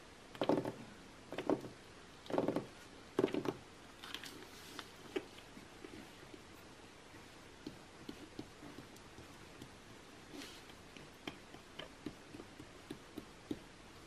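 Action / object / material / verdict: tap / glossy coated paper magazine / coated paper / none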